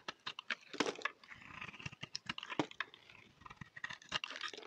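A solid oval orange-red bar of soap held in the hand is cut into chunks with a utility knife blade. Quick, crisp scraping and cutting sounds with bright crunchy snaps come in rapid bursts, with faint softer scraping between them.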